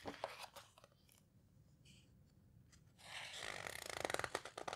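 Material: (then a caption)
Paper. Flat hands with long red nails rub and squeeze the thick paper pages of a large open houseboat photo book, with a page turned between squeezes. A few soft crinkly taps and scratches give way to a quiet lull, then a dense burst of bright, papery rustling and scraping builds and continues to the end.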